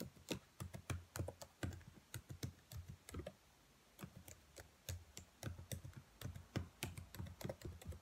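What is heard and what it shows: Long nails tap and type on the keys of a black plastic laptop keyboard, giving a quick, irregular run of sharp clicks with low thuddy body and bright, fast-fading ticks. A brief quiet gap comes in the middle before the typing picks up again.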